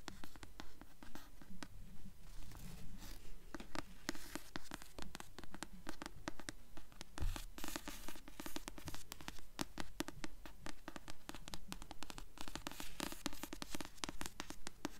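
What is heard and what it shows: Long nails tap and scratch the front of a blue paperback novel with a glossy card cover, held upright in both hands. Quick, dry clicks fall in a steady rhythm, mixed with bright, papery scraping strokes across the cover. Each tap dies away almost instantly.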